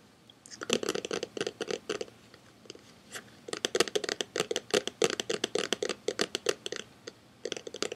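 A hand-sized hollow plastic DVD case with a printed cover is held up in both hands and tapped and scratched with fingertips and nails. Quick bursts of dry, clicky taps and scratches come in clusters, with short pauses between them, and each tap dies away almost instantly.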